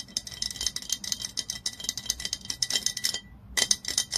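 Long nails tap rapidly on the body of a glass olive oil bottle lying on its side. The result is a fast, uneven run of crisp, bright clicks over a faint steady glassy ring, with a brief pause near the end before the tapping resumes.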